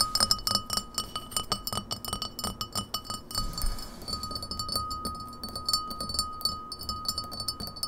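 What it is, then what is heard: Glass pint glass tapped. An empty, hollow, clear glass pint glass with a printed logo, held on a wooden table, is tapped rapidly around its side and base with long natural nails and fingertips. It makes a quick run of short, bright clinks over a steady glassy ring near 1.2 kHz. Each tap dies away almost at once, with a brief softer stretch near the middle.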